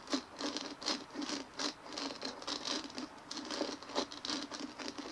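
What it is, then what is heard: Plastic bumpy ball. Fingernails scratch and rub over the bumpy surface of a large white dimpled plastic ball resting on a table. The result is a quick, dry patter of crisp scratches and light taps, with a bright hissy texture and almost no ring after each stroke.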